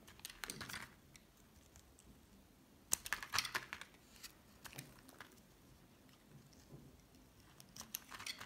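A solid green bar of soap held in the hand is sliced into strips with a metal utility knife blade. Quiet, dry scraping and scratching cuts come in scattered bursts with brief bright clicks and crisp, high crackle, separated by near-silent pauses.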